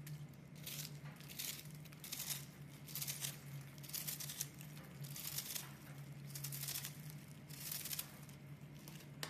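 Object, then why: Block of soap scraped with a knife blade. A hand-sized, crumbly, porous pink-and-white soap block is held in the hands and scraped and carved with a metal utility knife blade, so flakes crumble off. Repeated dry, bright scraping strokes crackle over a steady low hum.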